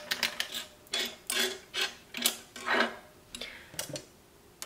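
Long nails and fingertips type on a large beige plastic Model F-style mechanical keyboard with shells resting along its front edge. About a dozen rapid, clacky, irregular taps are heard, bright and crisp with very short ring.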